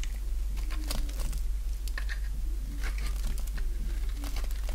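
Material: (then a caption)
Soap. A solid oval bar of dry pink soap held in the palm is shaved with a box-cutter blade into curls. Quick, irregular scraping strokes give crisp, crackly, bright cuts over a steady low hum.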